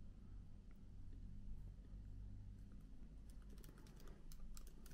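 Both hands type with their fingertips on a MacBook keyboard with plastic keycaps. Soft, bright key clicks sit over a steady low hum and grow denser toward the end.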